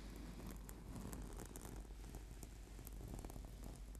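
Fingertips and nails scratch quickly across a flat, purple, sticky PVC/foam yoga mat. The result is a quiet, steady, crackling rustle over a low rumble, with faint bright ticks scattered throughout.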